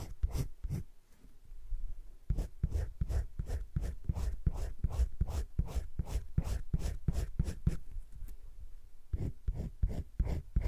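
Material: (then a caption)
Paper. A teal colored pencil shades in short strokes around a droplet on thick cream drawing paper in a spiral-bound drawing book lying flat. The clip is a quick, uneven run of soft, dry scratching strokes, each with a low thud. There is a brief lull near the two-second mark before the steady shading resumes.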